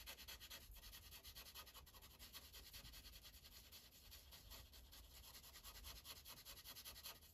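The felt tip of a green Sharpie marker rubs across a thin paper coloring page resting on a clipboard in quick back-and-forth coloring strokes. The result is a quiet, steady, bright scratching hiss with a soft rhythmic pulse from each stroke, continuing without pause.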